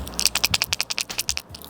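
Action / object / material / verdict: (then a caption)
shake / lipless crankbait fishing lure with tungsten rattle / tungsten / none. A lipless crankbait with a tungsten two-tap rattle is shaken, giving about fifteen quick, dry, bright clicks in a rapid rattling series with almost no low end. It sounds different from the usual high-pitched lipless rattle, offering a sound the fish might not have heard.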